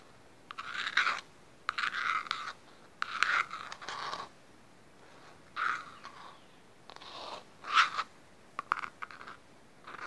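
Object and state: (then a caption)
Plastic bowl scratched. A small, hollow, empty green plastic bowl is held upside down close up while fingertips and nails scratch and rub its outer surface. Bursts of dry, crunchy scraping come in irregular strokes, bright and mid-pitched with almost no low end, separated by quiet pauses.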